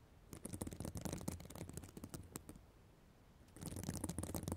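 Long black nails scratch the plastic sequins of a reversible sequin fabric notebook cover close to the microphone. It makes a dense run of crackly, rustling scrapes with bright clicks over a low, close-up rumble, goes quiet for about a second, then picks back up until the end.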